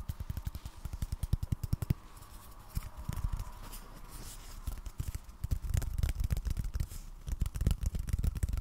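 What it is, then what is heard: Cardboard tapping. Fingers tap rapidly on cardboard, making soft, dull, low thumps with almost no ring. The taps come in quick bursts separated by quieter stretches of faint scratchy rustling.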